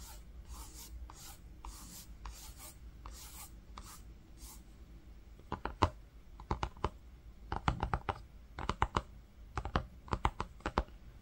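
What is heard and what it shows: A fingertip traces and rubs across the weave of a green linen-textured fabric book cover, making soft, rhythmic swishing strokes for the first half. Fingers then tap the fabric in quick clustered bursts of short, dull taps that die away almost instantly.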